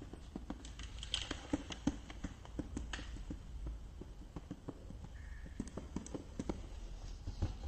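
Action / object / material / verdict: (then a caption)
tap / small clear plastic case with lid / plastic / none. Fingertips and nails tap rapidly on the clear side of a small plastic case with a green lid and a boxed product inside, then move to tapping on the green lid. The sound is a quick, uneven patter of short, dry, hollow clicks with little ring, over a quiet low background rumble.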